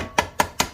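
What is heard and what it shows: A dead blow hammer taps an engine primary cover on a Honda 420/500/520 to break its seal and check, by the change in sound, whether it has come loose. Three separate short knocks ring with a pitch near 945 Hz and decay quickly. The cover has already broken loose.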